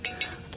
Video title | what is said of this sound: TWO Goodwills in One Day - Thrift With Me for Ebay - Reselling | i thought that was gonna be ceramic but it turns out it is metal